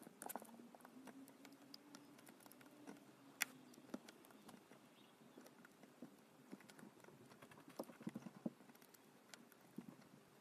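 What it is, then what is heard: Soap bar being carved. A thin metal blade scores and slices thin lines into a solid, palm-sized pink EFKO bar of soap held on a dark surface. Quiet, dry scraping is broken by soft, crisp clicks and ticks scattered throughout, with a few sharper snaps near the middle and end. A faint low hum sits under the first few seconds.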